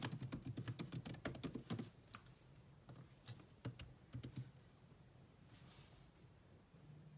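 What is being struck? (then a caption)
Laptop keyboard with plastic keys. Fingertips and long nails type on the black plastic chiclet keyboard of a grey laptop, producing quick, sharp clicking taps with a soft low thud beneath each keystroke. A dense, uneven burst of typing fills the first two seconds, followed by a few scattered taps and then a quiet stretch toward the end.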